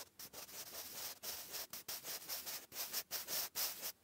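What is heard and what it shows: A wooden graphite pencil writes cursive on a lined grey paper notebook page, giving a dry, bright scratching with no low end. The strokes come in short bursts separated by brief gaps, with about thirteen separate strokes audible.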